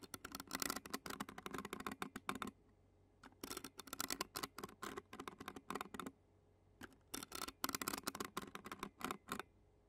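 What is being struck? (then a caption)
Metal mesh microphone grille scratched with plastic fork tines. Clear plastic fork tines scratch and tap rapidly on the black metal mesh grille of a handheld Zoom recorder. The result is clusters of dry, bright, crackly scraping bursts with no ring, broken by two short quiet pauses.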